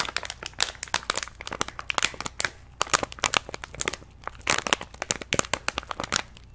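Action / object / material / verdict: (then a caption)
scrape / plastic stand-up snack pouch / plastic / none. Hands squeeze and crinkle an orange-and-white plastic stand-up snack pouch held beside a microphone. The result is a continuous run of sharp, bright crackling bursts in quick irregular succession, each dying away almost instantly, over a faint steady low hum.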